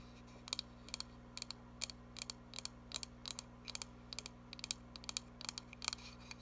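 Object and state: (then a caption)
Cardboard box tapped with fingernails. A small cardboard box, turned to show its sides, is tapped with long nails. The result is a steady series of short, bright, dry clicks, often in quick pairs, over a faint low steady hum.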